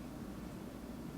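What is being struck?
Nothing is struck.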